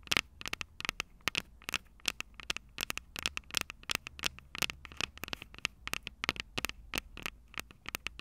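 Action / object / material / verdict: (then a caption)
tap / metal microphone capsules on a plastic recorder / metal / none. Long purple nails on both hands rapidly tap and scratch the small metal X/Y microphone capsules on top of a plastic Tascam DR-05 recorder, the same mic doing the recording. About 40 sharp, bright clicks and scratches sound close and dry, peaking around 2.2 kHz over a faint low hum, each dying away almost instantly.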